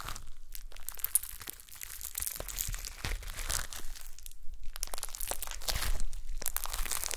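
A soft, solid blob of gold glitter slime on a table is squished and poked with long nails and fingertips. It gives irregular, crackly crunching and crinkling bursts with bright highs over a low rumble. The pops are short and dry with almost no ring.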